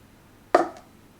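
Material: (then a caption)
Paper. An empty takeaway coffee cup is set down on a surface, making a short, hollow knock centered around 700 Hz that fades quickly, with a faint lighter tap just after. The empty cup sounds hollower than a full one.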